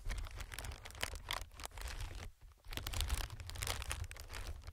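Fingertips tap and scratch an inflated clear plastic-film air pillow, producing dense crinkly scratching and crackling taps over a steady low rumble. The rustling briefly drops to near silence partway through, then resumes just as busily.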